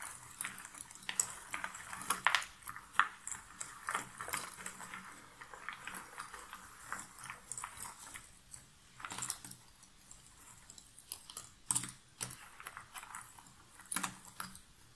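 Long nails and fingers stir, scratch and rummage through hundreds of loose small cardboard jigsaw puzzle pieces inside an open box. The result is a quiet, continuous dry rustle and shuffle, broken by irregular brief, bright clicks and scrapes that stop short with no ring.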